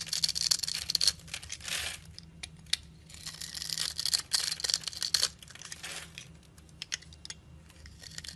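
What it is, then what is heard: Bar soap scraped with a blade. A wide metal blade scrapes and cuts small crumbs off a solid orange bar of soap held in the hand. Bright, dry, crisp scraping comes in two long bursts, then thins to scattered sharp ticks and crackles over a faint low hum.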